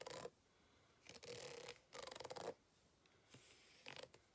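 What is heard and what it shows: A white plastic fork scratches the ribbed lower surface of a green ribbed rubber hot water bottle lying flat, hollow and apparently empty. It makes short bursts of dry, rasping scratches with a bright, fizzy edge and a faint hollow tone in the midrange, separated by near silence.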